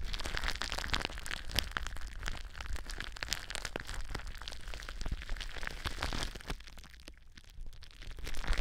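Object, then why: Plastic bubble wrap. Long blue nails scratch and crinkle the air bubbles of clear plastic bubble wrap wrapped around a microphone, making a dense stream of sharp crackles and crunchy crinkling over a low rumble. The crackling eases into a quieter stretch near the end, then swells louder again in the final second.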